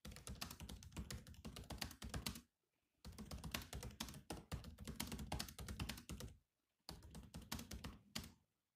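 Both hands type with their fingertips on the black plastic keys of a grey laptop keyboard. Three bursts of rapid, clicky keystrokes are separated by short pauses of silence. Each tap is a quick, dry click with a soft low thump underneath and a bright edge on top.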